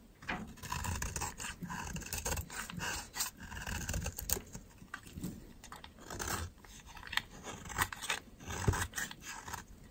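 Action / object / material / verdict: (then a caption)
scrape / soap bar carved with a metal blade / soap / none. A metal utility knife blade scrapes and carves a solid, dry white soap bar, peeling off dry, powdery shavings. The clip is a close, quiet series of crisp, rasping scrapes with bright, brittle crackle, each stroke short and dry with a soft low rustle underneath.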